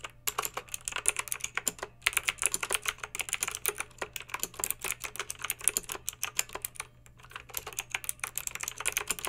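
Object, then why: Plastic mechanical keyboard with round keycaps. Long pink acrylic nails type on a plastic mechanical keyboard with backlit round plastic keycaps, producing a rapid stream of sharp, bright clacks that stop almost instantly. The typing runs steadily with brief pauses near 2 and 7 seconds, over a faint low hum.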